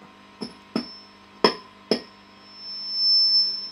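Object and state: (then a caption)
Microphonic ringing valve. A glass vacuum tube (valve) in a Marshall JCM800 2203 amp is tapped four times. Each tap rings out through the amp like a tuning fork, over a steady hum, and a high, bright tone swells near the end. The valve is strongly microphonic.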